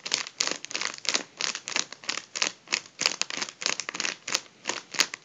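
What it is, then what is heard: Mylar foil balloon. Both hands squeeze and crumple a partly deflated gold mylar foil balloon. The result is a steady run of bright, crisp crinkling bursts that rise and fall in uneven waves. Sharp snapping pops stand out now and then.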